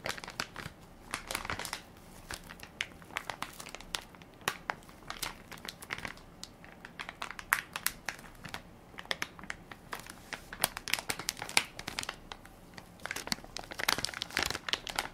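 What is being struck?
Soft plastic-film wipes pack.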